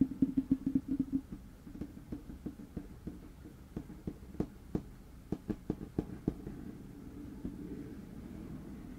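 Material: Wood.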